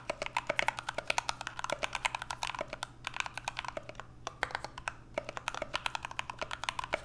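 Two hands type continuously with their fingertips on an NK65 65% mechanical keyboard with an aluminum case, Everglide Aqua King switches and PBT Notion keycaps. It makes a rapid run of short, crisp, bright clacks with a thin low hum underneath, easing briefly near the middle before resuming at full pace.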